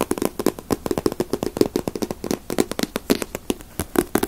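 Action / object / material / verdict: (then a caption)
tap / paperback book, glossy paper cover / paper / none. A small paperback Dragon Ball manga with a glossy paper cover is held in the hands and tapped on the cover with fingertips and nails. About 32 quick, dry taps come in a rapid, uneven rhythm, each with a soft papery knock around 370 Hz and almost no ring.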